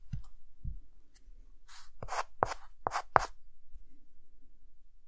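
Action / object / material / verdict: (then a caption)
scrape / chalk stick on a slate chalkboard / chalk / none. A hand adds cross-hatching with a white chalk stick on a dark green chalkboard. Short, dry scratching strokes rasp across the board in a quick, uneven series, with soft low taps as the chalk meets the surface. Quiet stillness comes between the strokes.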